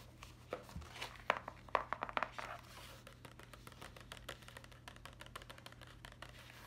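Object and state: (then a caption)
Paper notebook. A small closed hardcover notebook with a cardboard cover and paper-page edge, held upright, is tapped and scratched with long acrylic nails on the cover and page edge. Quiet, irregular dry clicks and scratchy rustles fill the clip, louder in the first two and a half seconds and softer after, over a low steady hum.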